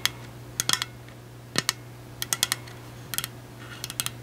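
Long acrylic nails tap the side of a large, hollow, pink powder-coated stainless steel insulated water bottle with a black plastic cap and a sticker. The taps are sharp, bright clicks that stop almost instantly, arriving in quick irregular clusters over a faint steady low hum.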